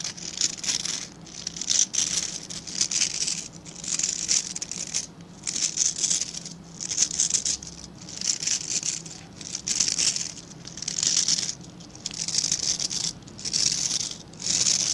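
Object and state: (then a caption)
Plastic bristle brush being scratched. Fingertips scratch and flick the tips of a hand-sized scrub brush with dense dark synthetic bristles and a plastic back. The result is a dry, crackling patter concentrated in the bright high range, with a faint low hum underneath. It comes in loose, uneven bursts of roughly a second, separated by brief quieter gaps.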